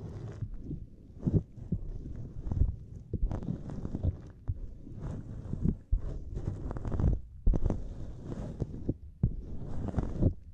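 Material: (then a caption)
Silicone. Fingertips press, tap and flex a small, flexible purple silicone grid mat with a lattice pattern. The result is a steady run of soft, muffled, low thumps with squishy rubbery rustling between them. Occasional sharper taps stand out, and each sound dies away almost at once.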